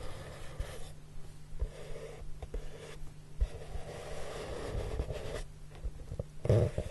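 Fingertips with short nails rub and sweep over the surface of a large, flat, brown, hollow corrugated cardboard box. The result is a soft, low, muffled rubbing hush with faint swishing strokes, a hum-like low tone and a few gentle bumps, with almost nothing in the high range.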